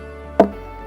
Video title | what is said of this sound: Jamaica Magazine-14.06.2023 | When you knock it like this with a stone, it gives you sound. Why it gave you that sound? Because it's hollow inside.